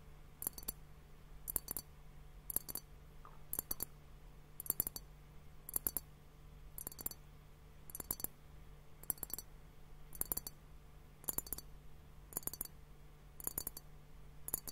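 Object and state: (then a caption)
Glass liquid hourglass tapped. A fingertip and nail tap on both bulbs of a large, clear, hollow glass hourglass timer filled with pink liquid and bubbles. Short, bright glassy clicks come in quick clusters about once a second and die away almost instantly over a steady low hum. The tapping stays quiet and even throughout.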